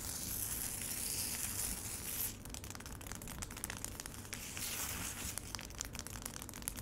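Long acrylic nails scratch across a solid slab of frozen lemonade in a large black plastic tray, making a steady, bright, hissy rasp for the first couple of seconds. Then they switch to tapping the icy surface, giving a string of sharp, crisp clicks over a faint low rumble.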